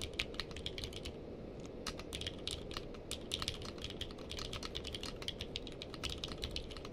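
Fingertips of both hands type continuously on a navy/purple-case mechanical keyboard with plastic keycaps. A rapid, steady stream of short, sharp clacks rings bright and dies almost instantly, over a constant low rumble. The typing stays fairly quiet and even throughout, with a few slightly louder strikes.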